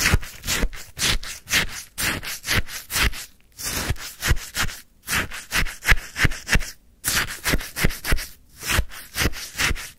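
A wooden stick scrapes and scoops icy frozen lemon sherbet in a white paper cup, making a quick, uneven series of short, crunchy, gritty scraping strokes. Each stroke is a bright, hissy rasp with a soft low thump beneath it, separated by brief near-silent pauses.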